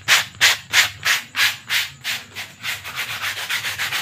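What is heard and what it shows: A rolled lavender paper sheet is rubbed vigorously between the hands and held up close. This gives a fast, steady series of bright, hissy scratching strokes, about three per second, with almost no low end. The strokes come quicker and softer toward the end.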